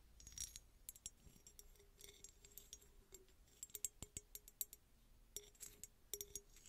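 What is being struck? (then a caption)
Small textured glass bottle. A small, hollow, red embossed glass bottle with a textured surface, apparently empty, is scratched and tapped with long red nails. Quiet, bright clicks and dry scratching come in irregular bursts, each tap dying away almost at once over a faint low hum.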